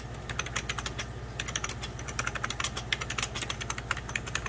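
Fingertips of both hands type on a hollow, beige 1990s Packard Bell plastic computer keyboard, producing rapid, irregular key taps. The clicks are short, dry and bright, with no ringing, over a steady low hum.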